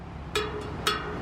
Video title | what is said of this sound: Used Ebay Road Bike Wheelset Has Cracked Rim | you can hear the spokes on the non-drive are a little bit less